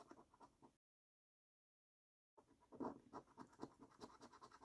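A copper-coloured coin scratches the latex coating off a flat, thin cardboard paper scratch card in short, rasping strokes. A quiet run of scratching is followed by a brief silence, then a louder, denser burst of scraping that carries on to the end.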